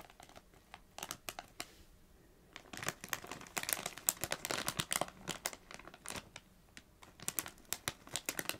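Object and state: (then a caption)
Metallised plastic crisp bag. Long nails scratch and tap a small Doritos crisp bag made of metallised plastic film, producing bright, dry crinkling clicks and rustles. The sharp taps come in quick bursts, pausing briefly before a denser stretch of scratching and crinkling.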